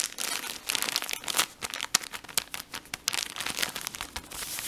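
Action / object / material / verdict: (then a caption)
scrape / plastic film cotton-pad package / plastic film / none. Fingertips and short nails scratch and crinkle the blue plastic film of a full cotton-pad pack near its printed end. The result is a dense, bright crinkling with quick crackly bursts, almost no low end and no ring after each touch.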